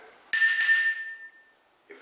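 An old glazed mortar and pestle in a 1900s pharmacy display is tapped, giving a clear, glassy clink with a bright ring near 1.8 kHz that fades over about a second. The clean ring shows it is not cracked, though it holds mercury and lead and is now only decorative.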